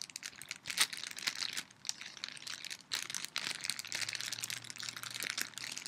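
A small, thin, clear plastic bag is held in the hands and crinkled and rubbed with fingertips and long nails. The result is a dense run of sharp, bright crinkling and crackling, mostly above 2 kHz, with quieter, softer rubbing stretches between the louder bursts.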